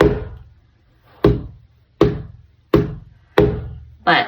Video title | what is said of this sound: How to prep your canvas for an acrylic pour art tutorial | so when it sounds like it jumps that means you're good to go it's tight it's ready